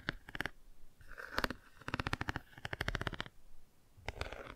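Long nails quickly tap and scratch the car page of a cardboard board book held angled and partly closed. Bursts of rapid, dry clicks and scrapes come in clusters with short pauses between them. The sound is crisp and close, with brief high-pitched flecks.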